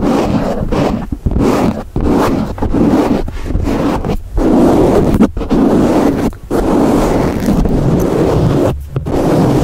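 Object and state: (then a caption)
Foam microphone windscreen being scratched. A black foam windscreen on a microphone is held in one hand and scratched and rubbed with the fingertips of the other. It makes a loud, continuous, muffled scratching and rustling weighted toward low and low-mid tones, with brief dips between strokes.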